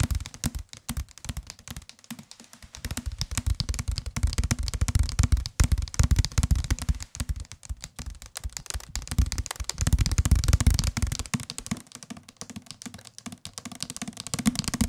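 A white and gray paperback of solid paper with a card cover is held in the hands and tapped with fingertips on the cover close to the microphones. Quick, irregular soft taps come in dense bursts, mostly dull low thuds with a light papery tick on top. The tapping grows heavier and fuller in stretches before easing back to lighter, sparser taps.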